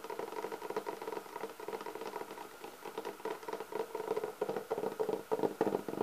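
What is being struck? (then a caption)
Leatherette-covered hard clarinet case. Long nails scratch and tap across the top and then the edges of a closed, hollow black textured leatherette hard clarinet case held against the body. A dense, uneven patter of soft scrapes and quick taps, with a hollow mid-range resonance, grows louder and sharper toward the end.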